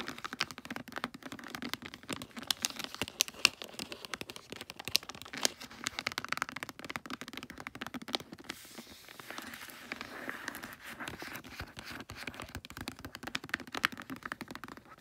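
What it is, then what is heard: Foil wrapping paper on a gift box. Long nails and fingertips scratch and rub holographic pine-print foil wrapping paper on a gift box, working over its folded and crinkled edges. Dense, bright crinkling and crackling with many quick, sharp ticks fills the clip. After about 8.5 seconds it turns into a softer, steadier rustle.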